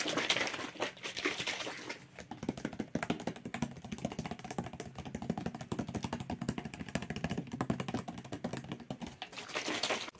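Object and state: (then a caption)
Plastic water bottle. Fingertips rapidly tap and scratch a hollow clear plastic water bottle with a green label, held close, and shake it. The result is a dense stream of quick, dry clicks and taps with a soft hollow thump underneath. Bright crinkly scratching bursts come at the start and the end.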